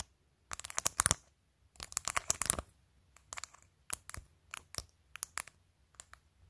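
Long pointed acrylic nails tap and scratch a clear glitter plastic phone case, covered in rows of glued-on matte acrylic press-on nails, on a phone held up, working across the case surface and its top edge. The result is quick bursts of sharp, bright, dry clicking and scratchy rasping with no ring, separated by short quiet gaps over a faint low hum.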